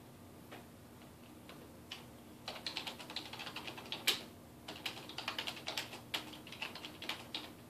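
Fingertips of both hands type on a dark plastic, low-profile desktop computer keyboard resting on a wooden desk, repeatedly pressing and tapping the keys. A few sparse, quiet clicks give way after about two and a half seconds to a steady run of short, bright plastic ticks and clacks that die out almost instantly, with one sharper, louder clack near the four-second mark.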